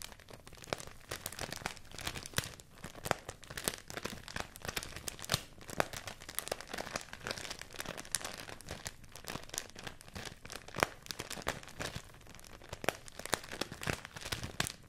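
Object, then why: Folded sheet of rice paper. A folded sheet of white rice paper, held in both hands, is crinkled and scratched with fingertips and nails. The result is a steady stream of dry, crisp crackles and rustles, with sharp bright snaps poking out of the texture. Each crackle is short and does not ring.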